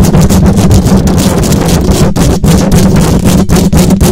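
Long acrylic nails scratch rapidly over the hollow metal mesh grille of a silver condenser microphone. The result is a loud, dense, continuous rasping roar, heavy in the low end with a steady low hum, pulsing with quick, uneven strokes and only brief dips between them.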